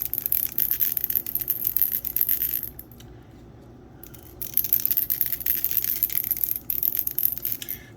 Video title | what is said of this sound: Mr Color pre mixing tutorial Lets mix red paints today ! | shake it around real good you hear that bead in there